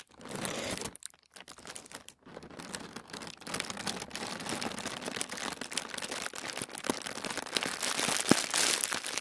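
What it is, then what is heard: Thin tissue paper. Flat palms and fingertips rub a crinkled sheet of thin white tissue paper spread on a wooden table. Dense, bright crinkling and rustling continues throughout, with a brief quieter gap near the start, and grows slightly louder and hissier toward the end.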